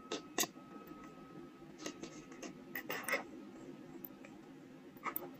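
A steel carving knife scrapes and scratches the carved characters of a small, solid, square soft stone seal block held close in the hands. The result is quiet, dry, crisp scraping with sharp bright ticks over a low hum and a faint steady tone.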